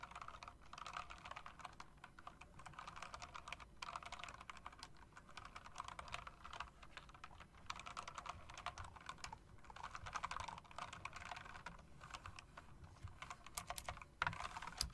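A hand with long dark nails types with fingertips and nails on an RGB mechanical typewriter-style keyboard with round plastic, chrome-rimmed keycaps. Dense, steady clicking runs for about fifteen seconds, with short crisp taps centred in the mid range around 1 kHz and brighter clacks on top. A few louder strikes come near the end.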